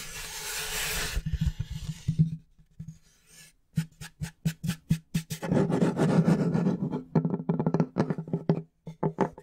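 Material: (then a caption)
Plywood. Fingertips and nails tap and scratch the flat face of a large, solid plywood board. A bright scratching rasp opens the clip, followed by quick, dry taps with a low, woody thump. Bursts of scratching and faster tapping come in irregular clusters.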